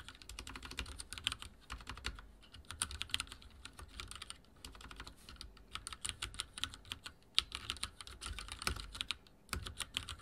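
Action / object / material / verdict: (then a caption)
tap / mechanical keyboard with plastic keycaps / plastic / none. Fingertips of both hands type continuously on a backlit mechanical keyboard with dark plastic keycaps and a silver frame. Rapid, bright, sharp clicks and clacks come in steady bursts with a few brief pauses, over soft low thumps as the keys bottom out.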